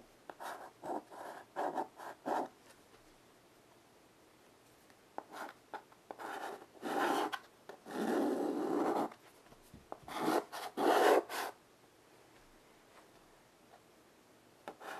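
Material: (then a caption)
Chalk. White chalk held in a child's fingertips draws lines on a small wood-framed chalkboard resting on carpet, making dry scratching and rubbing sounds. Quick, separate strokes come in bursts with quiet pauses between them, then give way to a longer steady rub around the middle. A few more strokes follow before it fades to near silence, with a faint scrape at the very end.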